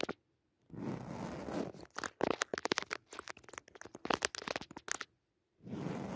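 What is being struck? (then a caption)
Padded woven jacquard fabric cushion. Long nails scratch into the textured surface of a soft, padded woven jacquard fabric cushion with a red leaf pattern. Steady, rough scratching gives way to a dense run of short, crisp, crunchy strokes, then the steady scratching resumes after a brief silence.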